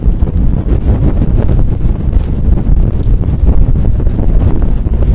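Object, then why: Faux fur microphone windscreen. Long nails scratch and rub fast across a fluffy faux fur windscreen on a microphone. The result is a loud, continuous, muffled rumble of rustling and scraping, heavy in the low end with almost nothing bright on top.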